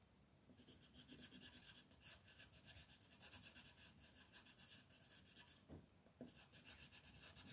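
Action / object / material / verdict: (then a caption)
scrape / wooden colored pencil on a paper sheet / paper / none. A peach-colored wooden pencil held in the hand is rubbed back and forth to shade small areas of a printed mandala on a thin white paper sheet lying flat on a table. It makes a continuous, scratchy rasping with bright, high-frequency texture in rhythmic strokes, briefly pausing before resuming.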